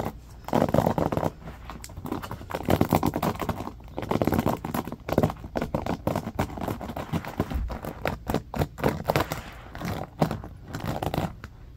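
A small rectangular hairbrush with a striped bamboo back and dense black bristles rests on carpet, held in both hands, while fingertips and short nails scratch and flick the bristles. Rapid, dry scratching and crackling flicks come in quick uneven bursts, muffled and weighted toward the lows with little bright edge.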